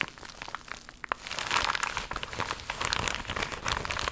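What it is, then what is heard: Plastic foil mailer pouch being crinkled. An empty, flat holographic plastic/foil mailer pouch, iridescent green-blue with a croc-embossed surface, is held in both hands and scratched and crinkled with long pink acrylic nails. Soft scratching and a few sharp ticks open the clip, then dense, bright crinkling swells up and continues in crackly bursts to the end.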